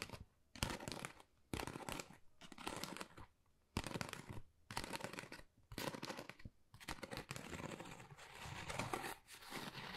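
Long nails scratch across a flat, thin, hollow pale pink Dior cardboard folder with a pebbled texture. Its rough surface gives bursts of dry, crackly scraping that rise and fall, separated by brief quiet gaps. The rasping sound spreads from a low hollow rumble up to a bright, hissy edge.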